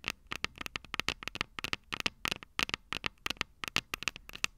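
Long purple nails tap the small, hollow, silver metal microphone capsules of a Tascam DR-05 recorder in a quick, uneven series. Each tap is a sharp, bright metallic click with a faint ring around 2.7 kHz that dies away almost instantly, with very little low end and quiet gaps between the taps.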